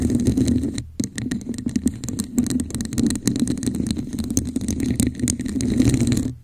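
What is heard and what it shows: Long nails and fingertips scratch and tap the patterned surface of a hollow red textured plastic cup turned upside down over a microphone. The result is a steady, dense rustle of scratches and quick taps with a muffled, hollow low body and faint bright edges. It breaks off briefly near one second and fades out at the end.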